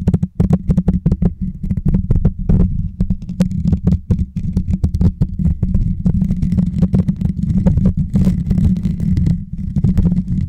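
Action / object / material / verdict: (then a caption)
tap / metal mesh microphone grille / metal mesh / none. Fingertips and short nails scratch and tap the hollow, rounded metal mesh grille on top of a white Blue Yeti microphone. A rapid, continuous stream of deep, boomy thumps with short decays is heard, each topped by a brief crisp click, and a faint bright scratchy rasp runs between them.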